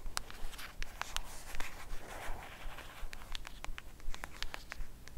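Long acrylic nails scratch and tap along the edge of a flat black cardboard Batman eyeshadow palette held edge-on. Quick, unevenly spaced, bright clicks come over a soft papery scratching and a steady low hum underneath.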